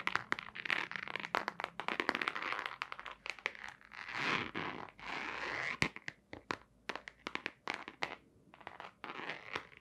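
Long nails scratch and tap a hollow, long white cardboard box with a black stripe, held upright. Rapid, crisp clicks are mixed with bursts of dry, crunchy scratching that is bright and thin, with almost no low end. Each tap stops short with no ring.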